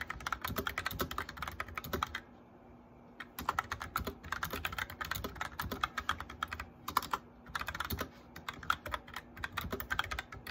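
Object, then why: Plastic mechanical keyboard. Fingertips and nails tap quickly on a white plastic mechanical keyboard with lit keycaps during continuous typing. Dense, bright clicky keystrokes run throughout, with a short pause of about a second near the two-second mark before the fast typing resumes over a faint steady low hum.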